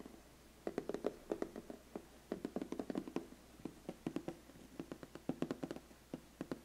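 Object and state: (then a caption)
Cardboard gift box. Fingertips and nails tap rapidly on the closed lid of a large, flat, black glossy cardboard biscuit gift box. About thirty quick, hollow taps come in uneven bursts, each a dry knock centered near 400 Hz with a faint bright click that dies away almost instantly. A low steady hum sits underneath.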